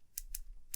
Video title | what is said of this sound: Nexus 6P - Early Observations | an odd click on the top right as you can hear if you tap